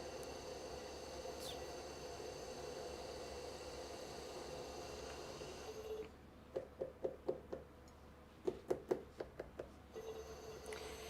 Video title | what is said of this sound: Swan City Ceramics 🦢 Episode 120 Pottery Livestream | you can like hear how hollow the walls are by tapping